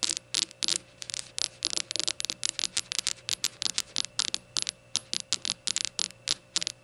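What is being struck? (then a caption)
Small glazed ceramic shot glass. Long gold nails tap rapidly on a small glazed ceramic rainbow shot glass standing upside down on a towel. The result is a quick run of about thirty short, bright clicks that die away almost instantly, with a faint steady hum underneath.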